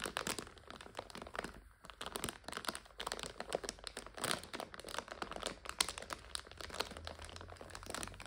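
Long nails scratch and press a clear plastic bag full of dried egg noodles, crinkling it. Dense, bright crackles and crisp crunches come in quick, uneven bursts with almost no ring, over a faint low hum.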